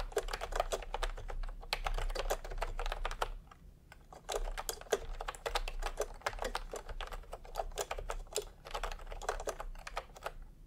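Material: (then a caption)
Plastic. Fingertips of both hands type continuously on a full-size pastel, typewriter-style plastic keyboard with round plastic keycaps set in a hollow plastic case. Rapid, short, hollow clacks with a mid-pitched tone fire in dense bursts, with a brief pause near the middle, over a low steady rumble.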